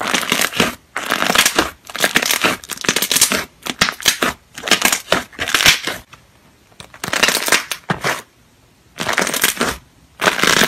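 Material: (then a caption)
Slime. Fingertips poke, press and squeeze a large white glossy slime resting on a white surface, popping the air bubbles trapped inside. The clip is a series of loud, bright, crackly bursts of rapid wet pops and squelches, separated by short silent gaps.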